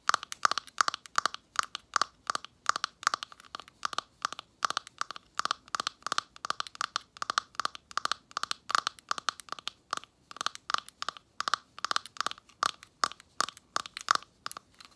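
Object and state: Glass ornament tapped with long nails.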